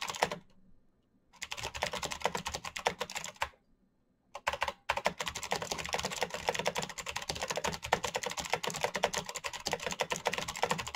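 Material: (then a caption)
Plastic. Fingertips type fast on the hollow plastic keycaps of a black plastic mechanical keyboard, making dense, bright, clicky taps. The typing runs in bursts with two short pauses early on, then continues steadily to the end.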